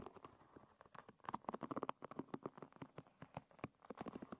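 A long red nail strums and flicks across the wooden pins of a hairbrush lying with its pins facing up. It makes a quiet, rapid run of dry, short clicks and ticks, clustered in the midrange with little low end. Each click dies away almost instantly.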